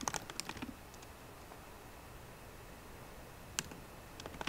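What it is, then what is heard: Laptop keyboard with plastic keys. Fingertips with short painted nails on both hands type rapidly on the low-profile black plastic keyboard of a 13-inch MacBook Pro with a grey aluminium body, resting on a wooden desk. A quick cluster of short, bright, dry clicks opens the clip, followed by a long quiet stretch. A single tap and then a few more taps close it.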